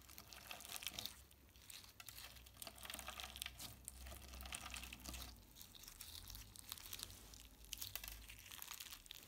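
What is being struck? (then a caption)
Clear slime with plastic sequins. A palm-sized lump of soft, solid clear slime covered in plastic heart sequins is squeezed, folded and rubbed with the fingertips of both hands. The result is a steady stream of bright, crinkly, crackling clicks and wet squelches over a low background hum.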